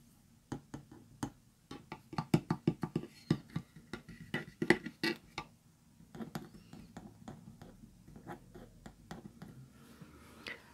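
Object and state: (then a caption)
Painted wooden plaques scratched with fingernails. Fingertips and short nails rub and scratch across the first of three small, flat, solid painted wooden (likely MDF) plaques in pastel blue, pink and green with Easter egg designs, joined by jute twine and lying flat. Quick, dry, irregular taps and scrapes with a low woody body die away almost instantly. They are louder and sharper at first, then ease into softer, steady scratching.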